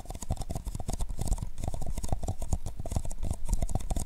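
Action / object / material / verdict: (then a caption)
tap / paper cup / paper / none. Fingertips tap and rub steadily on the sides of two identical hollow, empty paper cups, black outside and white inside, cupped around a microphone. The sound is a dense run of quick, muffled low thumps mixed with a bright, papery rustle. Each tap dies away at once with no ring.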